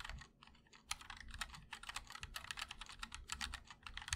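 Fingertips of both hands type continuously on a 60% MOD-L Linear mechanical keyboard with a black aluminum case and white and black ABS keycaps. A quick, steady stream of short, bright clacks is heard, each dying out almost instantly, over a soft low thump.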